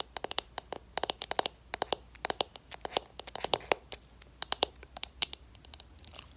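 Long acrylic nails tap and scratch the rim and pressed shimmer powder of an open, small round black plastic MAC eyeshadow pot. A rapid, irregular series of sharp, dry clicks, each decaying almost instantly, with brighter high-frequency ticks and faint scratching between them.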